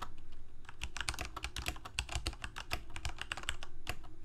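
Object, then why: Plastic mechanical keyboard. Fingertips of both hands type continuously on a full-size black plastic Corsair K68 gaming keyboard with backlit keycaps, Cherry MX Red switches and a hollow plastic case. Quick, bright key clacks with short decays sit over a steady low hum.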